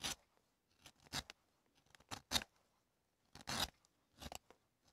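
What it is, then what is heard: Leather sole being rasped on a wooden last. A leather sole stretched over a solid, light wooden shoe last is first scraped with a small metal tool, then filed back and forth with a long metal rasp. The clip is a series of short, dry, bright rasping strokes separated by brief pauses, with almost no low end and no ring after each stroke.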